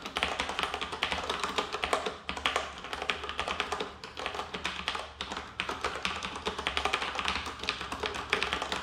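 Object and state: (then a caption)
Plastic mechanical keyboard. Fingertips of both hands type on a black plastic tenkeyless mechanical keyboard, a Roccat Ryos TKL with Cherry MX Brown switches, resting on a wooden floor. A fast, steady stream of bright, clacky key taps with very short decay runs throughout, over a faint low hum.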